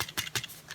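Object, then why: Paper shaker card filled with sequins. A paper camera-shaped shaker card filled with loose sequins is shaken to free a sequin stuck to its window. The loose sequins give a light, bright rattle in quick bursts. The stuck sequin stays in place.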